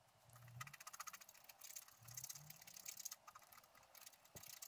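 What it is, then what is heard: Scratch-art card being scraped. A wooden stylus scratches the black coating of a flat scratch-art card on a table, with loose scraped flakes lying nearby. The result is a quiet run of rapid, dry, bright scratching strokes, mostly hiss-like high texture, with faint low hums rising under parts of the sequence.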